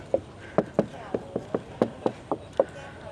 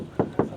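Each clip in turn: First: composite front body panel. Second: steel car door.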